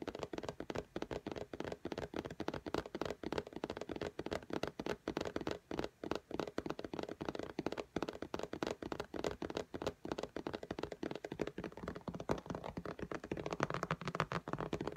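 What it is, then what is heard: Glass tablet screen tapped with fingernails. An iPad in a pink case lies flat on a desk while long natural fingernails of both hands tap rapidly on its glass touchscreen. The result is a dense, continuous stream of quiet, sharp clicky taps with almost no ring, centered in the midrange.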